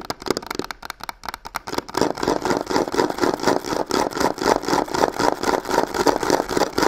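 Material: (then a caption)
Faux leather. Long pink nails rapidly and aggressively tap and scratch both faces of the hollow corner of a black croc-textured faux leather box. The result is a dense, fast stream of dry, clicky taps and papery scratches centered in the mid-range around 870 Hz. It starts sparse and grows busier and louder after the first two seconds.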